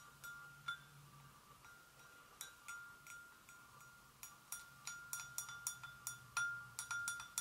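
Long acrylic nails tap gently around the rim and sides of a hollow, empty white porcelain gravy boat resting on a stone surface. Eighteen quiet, irregularly spaced taps give bright, chime-like clicks that ring over a faint, steady mid-pitched tone.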